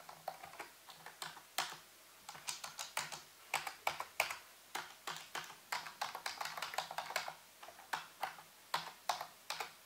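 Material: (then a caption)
Plastic. A full-size black plastic keyboard with hollow keys, set on a white base, is typed on with fingertips using both hands in slower key taps. Sharp, bright plastic clicks come in an uneven stream with brief pauses, each dying away almost instantly.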